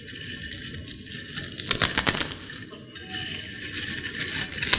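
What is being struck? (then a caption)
Potato chips in a ceramic bowl. Long-nailed fingers crush and crumble broken, crisp potato chips in a white ceramic bowl. The result is a dense, bright crackling and crunching with very little low end, swelling into sharper snaps partway through and again at the end.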